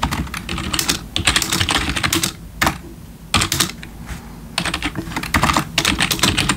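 Fingertips of both hands type rapidly on a black plastic RGB backlit computer keyboard resting on a wooden desk. Bursts of bright, crisp key clicks with a low plastic thock come in quick flurries separated by short pauses, each keystroke dying away almost instantly.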